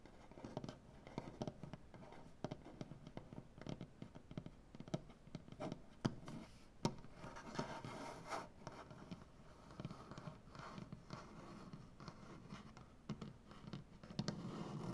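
Both hands scratch and rub a large solid maple butcher-block tabletop with nails and fingertips. The result is a quiet, dry, steady scratching and rustling texture weighted toward the low end. Frequent short, sharp clicks and taps stand out, with no ring after them.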